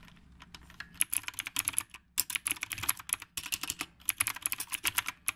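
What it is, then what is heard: Typewriter-style mechanical keyboard. Fingertips type steadily on a retro typewriter-style mechanical keyboard with round plastic keycaps. The result is a run of rapid, bright, sharp clicks with almost no ring and very little low end, broken by brief pauses near 2 and 3.3 seconds.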